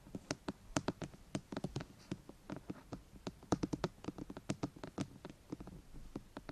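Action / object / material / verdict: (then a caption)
tap / plastic microphone housing / plastic / none. Long painted fingernails on both hands scratch and tap rapidly on the top surface of a white, hollow, rectangular plastic binaural microphone housing. The result is a quick, irregular run of dry, hollow clicks and taps with a low-mid body, each dying away almost instantly, against a soft scratchy hiss.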